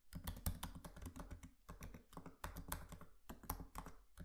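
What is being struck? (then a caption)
Laptop keyboard with plastic keys. Fingertips of both hands type rapidly on the solid, low-profile plastic keys of a MacBook laptop with a metal body resting on a desk. Quick, soft, thuddy key taps and clicks come in dense bursts with brief pauses, and each tap dies away almost instantly.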